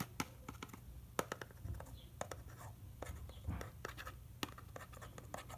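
A small hollow rectangular Herbion Cold & Flu cardboard medicine box held in one hand as fingertips and nails scratch and tap across its faces. Sharp, dry clicks stand out against a steady low hum and soft rough scratching, with each tap dying away almost instantly.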